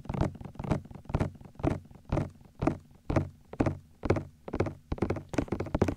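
Fingertips tap and knock the outer rims of both white silicone ears on a 3Dio binaural microphone. The result is a steady run of short, muffled low thunks at about two per second, with a deep body and very little brightness.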